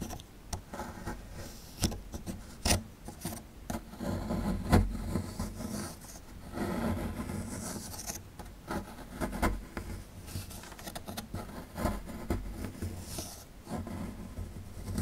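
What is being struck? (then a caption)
Plaster dig block. A metal pick scrapes and rasps away plaster at the right end of a solid plaster fossil dig block. The sound is a dull, low, gritty scraping with irregular sharp ticks and louder rasping bursts throughout.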